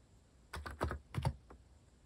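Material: Plastic.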